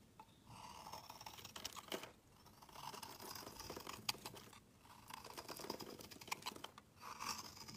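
A metal utility knife blade shaves a solid dark grey rectangular bar of soap, peeling off flaky shavings. Four long scraping strokes, separated by brief pauses, each give a crisp, crackling, bright rasp with tiny snapping flecks. The sound is quiet and close, with almost no low end.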